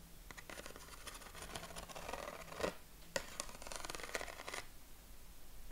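A sheet of yellow corrugated craft paper is held against the chest while its ribs are scratched with short fingernails and fingertips. Two long stretches of dense, bright, papery rasping are split by a brief quiet gap, with a faint steady low hum underneath. The scratching is soft and close, and it stops after about four and a half seconds.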